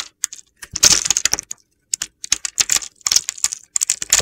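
A metal box-cutter blade slices through a solid, palm-sized pink and pale-blue bar of soap that has been pre-scored into small cubes. The cubes crack and crumble off in a rapid series of crisp, dry, bright clicks and crunches, with short pauses between bursts. The sound is almost entirely high-pitched with no low end, and each crack dies away instantly.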